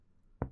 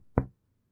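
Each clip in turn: First: dull percussion note over the lower right chest. Second: resonant chest over healthy lung.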